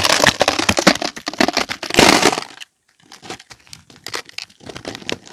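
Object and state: Bar of soap being cut and scraped.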